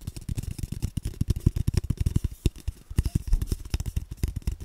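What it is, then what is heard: Hollow cardboard tube. An empty, hollow brown cardboard tube is tapped with fingertips while it is moved around a microphone. About 27 quick, dry, hollow thumps follow one another, deep and low around 98 Hz, with almost no bright content and no ringing.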